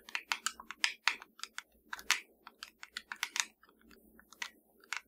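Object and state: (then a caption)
Plastic remote control. Long dark nails of both hands tap a small, hollow black plastic fireplace remote control lying flat. About nineteen quick, dry, bright clicking taps come in an uneven rhythm, each dying away almost at once. The taps thin out and soften near the end.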